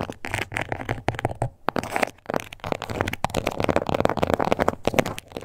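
Long acrylic nails tap and scratch on a small, flat, glossy pink crocodile-embossed faux leather card holder. The result is a dense run of quick, dry, crackly clicks and rasping scrapes with almost no ring, centered in the midrange. Two brief pauses break the run before it picks up again.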